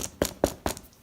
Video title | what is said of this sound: 3 Reasons to Buy Weightlifting Shoes | if I knock on it here you can hear the sound it makes there's not any softness there not any compressibility at all